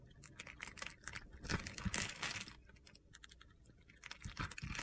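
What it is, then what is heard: Soap bar being carved. A solid yellow embossed soap bar held in a palm with red-painted nails has its face scored into a grid, then a metal box-cutter blade scrapes off small cubes. The result is a rapid, irregular series of crisp, dry crunches and gritty scrapes, swelling into denser bursts partway through and again at the end.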